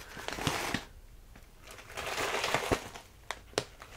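A full plastic bag of rolled oats is squeezed, tapped and crinkled by hands, with the oats shifting inside. Bright, dry crinkling rustles swell and fade, broken by sharp little taps that die away almost instantly.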